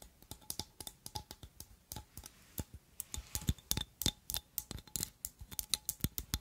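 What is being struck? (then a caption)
Glass perfume bottle with metal filigree overlay. Long nails tap and scratch the gold metal filigree overlay and glass of a glass perfume oil bottle set with red jewels and a gold stopper. About 29 quick, irregular clicks and ticks are heard, each bright and dry with almost no ring, mixed with faint scratching between them.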